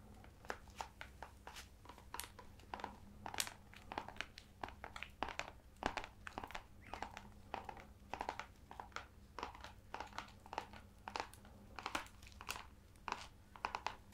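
Fingertips and nails tap and scratch the embossed leather-look cover of an ornate leather-bound hardcover book held up in both hands. It makes a quiet, rapid, irregular stream of short, dry taps and scratchy clicks that are bright at the top and centered in the mid range. A faint steady low hum runs underneath throughout.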